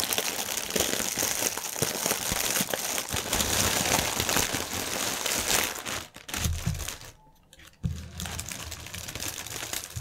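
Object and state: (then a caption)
Plastic air-cushion packaging film being crinkled. Hands squeeze a section of clear plastic air-pillow packaging film, then flatten it and rub it on a table with their fingertips. This produces dense, bright crinkling and crackling for about six seconds. The sound thins to scattered soft rustles with a near-silent gap, then resumes more quietly.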